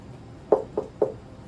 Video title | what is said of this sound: Discussing Leather Soles and JR's Closure with Cobbler Sunny | when you knock on it it sounds like wood